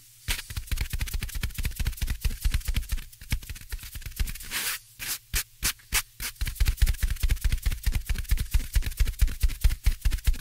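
Fingertips tap repeatedly on the top of a soft, porous black foam windscreen on a microphone. About 56 quick, muffled low thumps come in a loose rhythm, with a few brief brushy hisses near the middle.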